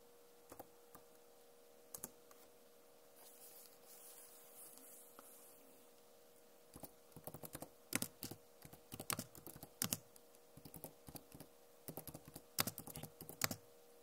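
Long nails and fingertips tap on the plastic keycaps of a backlit Acer laptop keyboard, with a few sparse, sharp clicks followed by a soft, brushing texture. From about the seventh second, the tapping turns into a quick, irregular run of crisp, bright clicks that stop instantly, over a faint steady hum.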